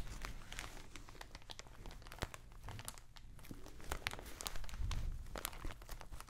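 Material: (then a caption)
Plastic. A thin clear plastic bag packed with soft white contents is held in both hands and squeezed and crinkled with fingers and nails close to the mic. Quiet, dense, irregular crinkling gives way to sharp bright crackles and snaps that die away almost instantly. A low soft rumble runs underneath throughout.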